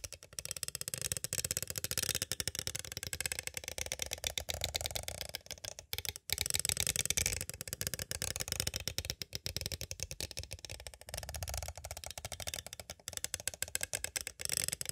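A small, hollow, clear plastic cassette tape case is tapped on its sides with two green plastic stick tools. The result is a fast, continuous stream of bright, dry plastic clicks and rattles that die away almost instantly, with a brief pause around the six-second mark.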